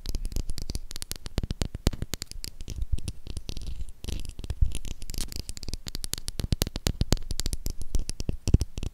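Long acrylic nails tap and scratch the embossed surface of a solid, hand-sized, light-blue Dettol soap bar. Rapid, dry, closely spaced clicks and scrapes continue for the whole clip; each is very short and thuddy in the low end, with faint bright edges and no ring.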